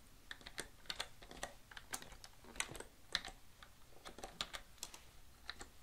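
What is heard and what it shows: Both hands type with their fingertips on a full-size black plastic computer keyboard lying flat on a desk. About 24 quick, bright, sharp key clicks and presses sound at an irregular pace. Each is short and dry, over a quiet background.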